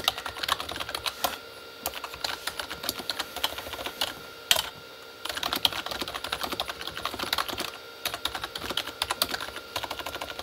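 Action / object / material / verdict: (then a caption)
tap / plastic membrane computer keyboard / plastic / none. Both hands type with their fingertips on a Corsair K35 plastic membrane keyboard with red backlit keys. The result is a steady run of quick, bright, clicky taps with brief pauses between bursts.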